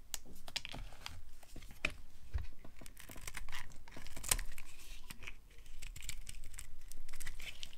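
A metal blade scrapes and cuts chunks and curls off a solid pink dry soap bar held in the hand, with fingers dusted in soap powder. A steady run of crisp, crackly scraping and brittle crunching fills the clip, with short bright clicks as the pieces break away.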